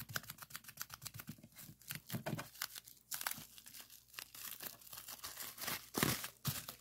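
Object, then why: Plastic bubble wrap sheet. Fingertips press and pop a sheet of clear plastic bubble wrap, first rolled up and then laid flat. A rapid run of sharp, bright pops and crinkles rings out in quick succession, with a few louder bursts near the end.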